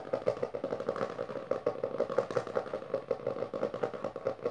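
Long nails of both hands tap and scratch fast and aggressively on the textured board cover of a closed hardcover book with a maroon cover, resting on purple fabric. A rapid, continuous stream of short, dry clicks with a hollow mid-range knock runs through the clip, mixed with light scratchy rasping.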